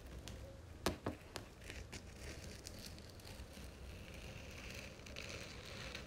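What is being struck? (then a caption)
Cloth-bound hardcover book spine. Long nails tap rapidly along the gold-lettered spine of a red cloth-bound hardcover book held upright by hand. A few sharp, dry clicks stand out early on, then give way to a quiet, steady crackling patter over a low background hum.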